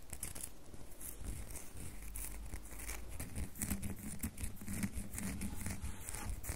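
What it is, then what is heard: Bar of soap being scratched. Long fingernails scratch a solid red bar of soap with a textured, scraped surface, held in the hand, with shavings on the table. Dense, dry scratching rasps come in quick, overlapping strokes with bright, hissy edges over a soft low rumble, growing slightly louder in the second half.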